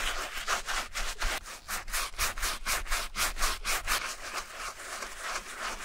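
A wooden-handled bristle brush loaded with soapy foam scrubs the suede upper of a grey suede and mesh Adidas running shoe, held empty and hollow in a gloved hand. Quick back-and-forth strokes, about two per second, make a bright, wet, scratchy rubbing sound that continues steadily throughout.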